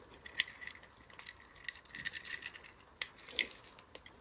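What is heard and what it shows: A palm-sized, pre-scored solid bronze-gold soap bar held in the hand is scraped with a metal utility-knife blade, so small cubes crumble off. Bright, dry scraping crackles and crisp crumbling ticks come in short bursts, with the busiest stretch in the middle and sharp isolated snaps near the start and end. There is almost no low end.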